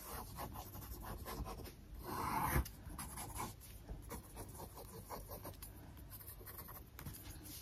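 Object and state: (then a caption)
Glossy paper magazine. An open glossy paper magazine lies flat on a wooden desk while a wooden stick or pencil traces and scratches over its photo page, with long acrylic nails resting on the page. Soft, continuous scratching and rubbing fills the clip, with a louder, brighter swell around the middle. At the end, a page is flipped.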